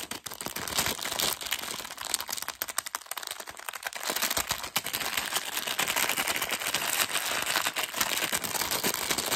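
A hand-sized, clear printed plastic film bag full of whole in-shell peanuts is held in both hands and squeezed and scratched with fingertips and short nails. Dense, bright crinkling and crackling runs continuously with many quick, sharp snaps and almost no low end.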